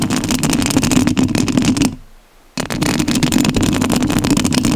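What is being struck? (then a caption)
Metal mesh microphone grille scratched by fingernails. Long nails scratch the metal mesh grille of a rhinestone-covered studio microphone, making a dense, rough rasping with a steady low band around 250 Hz and crackly high grit. The scratching stops for a brief near-silent gap about two seconds in, then resumes just as dense and loud.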